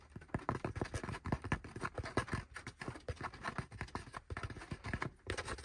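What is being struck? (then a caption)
Cloth baseball cap. Fingertips and nails rapidly scratch and tap the crown and brim of a dark grey cloth baseball cap resting on a lap. The result is a steady run of short, dull, low-heavy taps mixed with soft fabric scratching, with little bright content and almost no ring after each hit.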